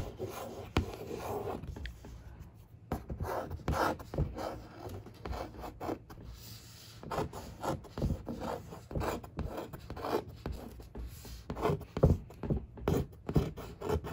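A long fingernail traces letters and scratches across the dark printed surface of a large, hollow cardboard monitor box. Irregular bursts of dry rubbing and scraping strokes, some fast and some slow, carry a muffled, low-heavy hollow tone with little brightness.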